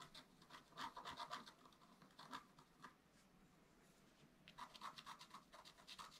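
A wooden stylus scratches the coating off a flat, black-coated scratch art paper card as the hand moves to the squirrel area of the design. Rapid, soft rasping strokes with a bright, papery hiss and a scratchy midrange come in two busy bursts, separated by a quieter stretch of faint scraping in the middle.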